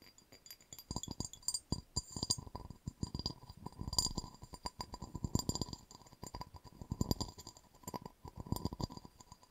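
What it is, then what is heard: Cut glass vase. A hollow, empty cut-crystal vase is tilted and turned upside down while long nails tap and scratch across its patterned surface and base. The result is a quick run of light, clinking taps with bright, short-lived glassy tones over soft, dull thuds and scratchy rasps.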